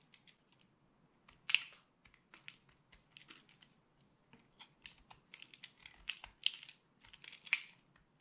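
A metal utility blade scrapes and cuts into the surface of a solid, dry yellow-and-purple soap bar held up close. The result is a series of crisp, crunchy, high-pitched carving scrapes, each one short and dry. Several louder crackling bursts stand out over a faint, quiet background.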